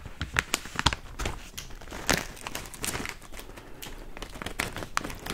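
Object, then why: Plastic foil snack bag. Fingers scratch and crinkle a yellow plastic foil chips bag, about hand-sized and partly full. Sharp, bright crackles and crinkling pops come in quick irregular bursts over a softer continuous rustle, each snap dying away almost instantly.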